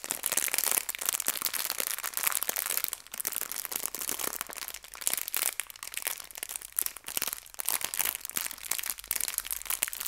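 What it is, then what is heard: Plastic bag of hair ties crinkled. A small clear plastic bag filled with colorful fabric hair ties is squeezed and crinkled by fingertips with long nails. Continuous bright, dense crinkling with many sharp crackles runs for the whole clip, with almost no low end.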